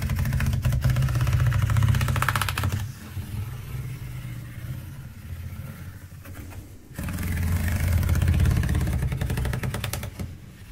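Fingertips and nails scratch and tap along the horizontal grooves of a large black ridged felt letter board in a white frame, lying flat. A dense, rapid, rhythmic scratching with a deep rumbling body is heard, loud for the first few seconds, quieter and softer in the middle, then loud again before fading slightly at the end.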